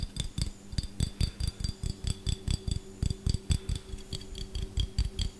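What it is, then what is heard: Glass jar with metal lid. A small, empty, clear glass jar with a gold metal screw lid, hollow and held close to the mic, is tapped fast with fingertips and short nails on the glass body and the lid. About 25 quick, separate taps land as dull low knocks with a faint steady ring near 200 and 400 Hz and bright high glassy glints. Each tap dies away almost instantly.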